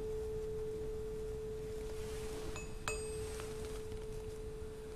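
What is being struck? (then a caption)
Steel tuning fork. A small solid steel tuning fork, held by hand over the open top of a tall glass resonance tube, rings with a steady pure tone near 434 Hz, possibly reinforced by the air column in the tube. Partway through, the fork is tapped again with a striker held in the other hand, adding a brief click and bright, high overtones that fade while the main tone keeps sounding.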